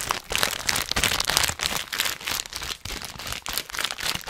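A full orange plastic/foil snack bag is crinkled with fingertips close to the microphone, then held up and lightly shaken. Dense, bright crinkling and crackling come in irregular bursts with brief quieter gaps, with almost no low end and no ringing after each crackle.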